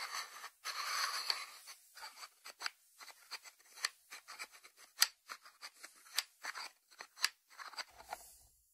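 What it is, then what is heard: Ceramic salt dish lid tapped and scratched. Fingertips and short nails tap and scratch the closed ceramic lid of a small, round, hollow white ceramic salt dish resting on a wooden board. A brief scratchy rasp opens the clip, followed by a long run of quick, bright, dry clicks and ticks that die away almost instantly, with no low-end body.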